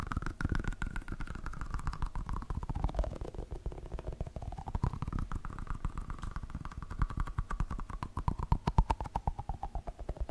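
A palm-sized, solid yellow Pikachu-shaped squishy toy made of soft foam is tapped with fingertips, first held to the side and then behind the mic. The result is a fast, dense stream of soft, muffled, low thuds with a faint hollow tone that slides down and back up in pitch.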